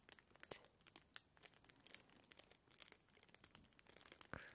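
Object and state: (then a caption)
Clear plastic bag. A thin, clear plastic bag lying flat on a printed pillow is scratched and crinkled with the long painted nails and fingertips of both hands. The result is a quiet, steady stream of bright, crisp crackles and rustles, broken by a few sharper snaps and a louder crinkle near the end.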